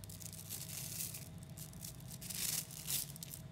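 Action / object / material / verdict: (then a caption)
scrape / clump of 3 mm neodymium magnetic balls / neodymium magnet / none. A mass of 3mm neodymium magnetic balls, small metal spheres, is pulled into strands by fingers and then squeezed back together. The balls give a dense, bright clicking and crackling, swelling into louder gritty bursts near the end. A steady low hum sits underneath.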